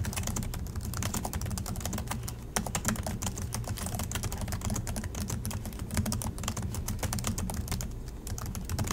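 Fingertips from both hands type steadily on the black plastic chiclet keys of a silver Acer laptop resting on a desk. A fast, continuous stream of short, bright plastic clicks sits over a steady low hum, with a few louder key strikes standing out.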